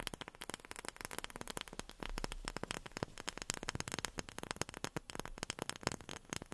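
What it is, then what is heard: Wooden object tapped with fingernails. A wooden object is tapped rapidly with long fingernails, producing a dense run of sharp, dry clicks with almost no ring. Around the two-second mark the taps blur into a brief low, rumbling scrape before the crisp tapping resumes.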